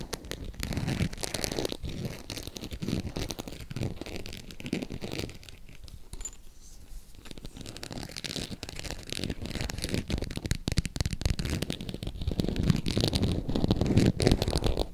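Long acrylic nails tap and scratch the surface of a green, glossy, croc-embossed faux leather purse held at an angle. The result is a dense, uneven run of quick, dry clicks and scrapes with a low, muffled body. The sound eases off briefly around the middle, then builds slightly louder toward the end.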